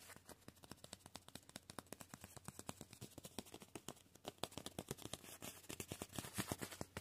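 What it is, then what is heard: Painted nylon sleeping bag. Fingertips scratch and rub across a green, padded synthetic nylon sleeping bag painted with black and yellow spots and grey and white stripes, working over the painted surface and its folds. About fifty short, crisp, dry scratching clicks come in quick succession, quiet at first and growing louder toward the end.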